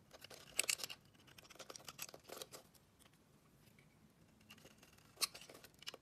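A dark metal blade scrapes and carves the surface of a solid, hand-sized, purple and white striped bar of soap with an embossed brand, held in the hand, with shavings falling away. The sound is a quiet, bright, crisp scraping in short bursts, strongest near the start, again around two seconds, and in a sharp burst near the end, with near silence in between.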